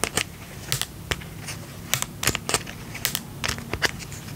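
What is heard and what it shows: Fingertips and nails tap the lid and side of a small round pink and purple plastic tub with a lid, filled with slime. The result is an irregular run of light, dry clicks and taps, bright and crisp with almost no ring, over a faint low background hum.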